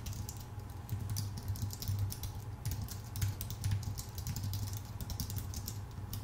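Both hands type with their fingertips on a full-size white Apple Magic Keyboard with plastic keycaps on a thin aluminum body. Quick, bright key clicks patter in a steady, uneven stream over a constant low hum that carries most of the sound's energy.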